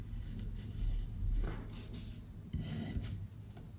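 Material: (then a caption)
Kinetic sand. A patterned metal knife slices through solid slabs of pink kinetic sand, making a rasping, sandy slicing sound. Low, muffled scraping swells and fades over a few seconds, with soft grainy crunches between the strokes.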